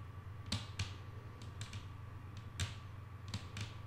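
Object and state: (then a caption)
Solid wooden tabletop. Long painted nails of both hands tap a solid, flat wooden tabletop in nine short, quiet, irregularly spaced clicks. Each tap is brief and bright, with little ring, over a steady low hum and a faint constant tone in the background.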